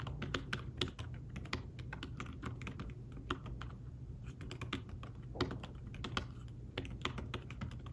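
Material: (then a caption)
Fabric. Fingertips tap quickly across the keys of a thin fabric-covered tablet keyboard case in fast typing. The keys give soft, short, muted clicks with brief bright edges over a steady low hum, with no speech.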